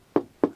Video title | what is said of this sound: [UNBOXING] : JUMANJI la réplique à taille réelle du jeu à un prix abordable | pour le plateau alors ça sonne creux